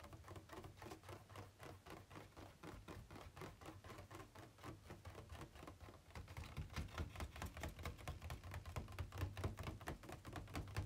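Fingertips and nails tap rapidly on the inner walls of an empty, hollow, ribbed white plastic packaging insert tray held tilted. The result is a quick, uneven patter of short, dry clicks over a hollow low thump. The tapping grows noticeably louder and fuller about halfway through.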